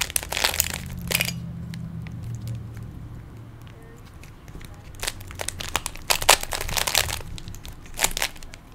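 Fingertips twist the layers of a small hollow plastic 3x3 Rubik's cube, making quick, bright plastic clicks and crinkly rattles. The clicks come in dense bursts at the start, fade into a quieter stretch with a faint low rumble, then return in sharper bursts toward the end.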